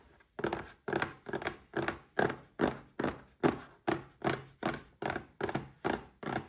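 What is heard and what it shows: A small red cardboard gift box holding a Paladone Mario Kart glass is tapped with fingertips and short nails, 15 times at a steady pace. Each tap is a dull, hollow thunk with a low-mid body that dies away almost at once.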